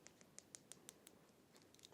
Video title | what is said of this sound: Matte on Gloss - Neon Aztec on Black Acrylic and Gel Nail Art Design Tutorial | Kiedy opukujesz paznokieć i wydaje on taki dźwięk, wiesz, że jest on wystarczająco twardy.